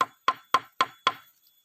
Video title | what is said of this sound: Cara menebang pohon bambu berkualitas | suara suaranya pun Kalau dipukul itu berbeda-beda